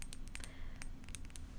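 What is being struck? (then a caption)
Small glass bird figurine. A little glass bird figurine is tapped several times, giving quiet, bright, clinking glassy ticks that die away almost instantly. A low, steady background hum sits underneath the taps.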